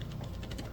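A 3D-printed collapsing print-in-place pirate sword is shaken, and its plastic segments rattle audibly in quick, clicky bursts over a low hum. The rattle shows looser clearances than a second print sliced differently, which stays silent.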